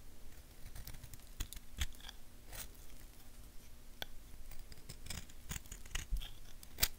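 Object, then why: Bar of soap carved with a knife. A purple knife blade carves and scrapes a small, solid tan bar of soap held in the hand, leaving shavings. A series of short, crisp, bright cutting and scraping clicks sounds over a low, quiet background rumble.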